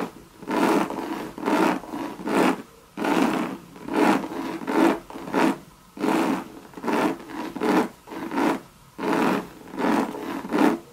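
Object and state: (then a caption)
Coated canvas handbag scratched. Long red nails scratch and rub the hollow monogram coated canvas of a Louis Vuitton bucket bag. About 16 dry, rasping strokes come in four rhythmic bursts, each swelling and fading with a midrange body and a breathy hiss. Short quiet gaps separate the groups.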